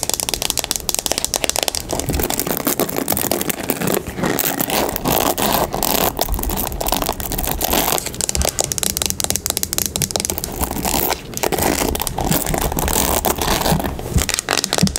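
A mint-colored plastic paddle hairbrush with bristles, held in the hand, is tapped on its hollow plastic back and its bristles are scratched with long acrylic nails. Fast, dense crackly tapping and scratching continue steadily throughout, with bright, brittle clicks and short, dry hits.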